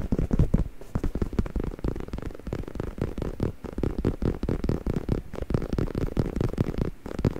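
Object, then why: Stuffed faux leather neck pillow. Fingertips and short nails scratch and tap across the grained surface of a soft, padded, black stuffed faux leather neck pillow held close to the mic. The result is a steady, muffled stream of low, rumbling scrapes and quick soft taps, with almost no bright edge.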